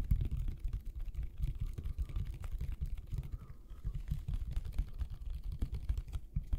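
Fingertips and nails tap quickly on the plastic and label of a medium white Elmer's plastic glue bottle with an orange cap, held sideways near the mics with a mouth close by. The result is a steady stream of rapid, soft, dull taps, almost entirely low and muffled, each dying away almost instantly with no ring.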